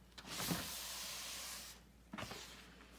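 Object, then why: Pressed gym chalk block (magnesium carbonate). Bare fingers squeeze and crumble a solid pressed block of gym chalk (magnesium carbonate) over a white bucket, and powder falls from the hands. A long, bright, hissing crunch swells and holds for over a second, then cuts off. After a short pause, a second, briefer gritty crunch fades into quiet rustling.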